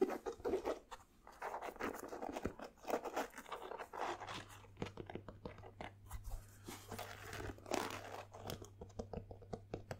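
A single empty white Nike basketball sneaker with a synthetic upper and rubber sole is held up in both hands while fingers and nails tap and scratch the upper and sole. Many quick, dry taps and crinkly scratches come with very short decay, mostly in the mid range with little bright content. A faint steady low hum runs beneath from about the four-second mark.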